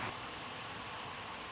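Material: Nothing is struck.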